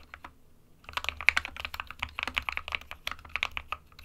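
Both hands type with their fingertips on an SK61 60% mechanical keyboard with a white plastic case and plastic keycaps, resting on a printed desk mat. After a few sparse taps, a rapid run of short, bright, clacky key strikes follows, each dying away almost instantly.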